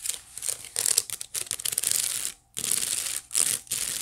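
Long nails scratch the woven side of a hollow, empty white wicker basket held horizontally. The result is a bright, crinkly, rasping texture in quick bursts, with a short silent pause about two-thirds of the way through.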